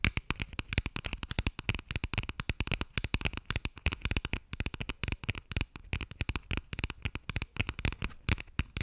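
Long nails scratch and tap rapidly on the textured cover and page edges of a burgundy passport. The result is a dense, continuous run of short, dry clicks with a soft low thump under each tap and a bright, crackly scratching texture on top, each tap dying away almost instantly.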